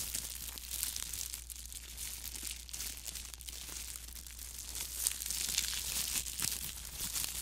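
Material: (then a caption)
Plastic film. Thin clear plastic disposable film gloves worn on the hands are crumpled and rubbed by the gloved fingers close to the microphone. A continuous, dense crinkle with sharp, bright crackles fills the clip, growing slightly louder and busier toward the end over a faint low hum.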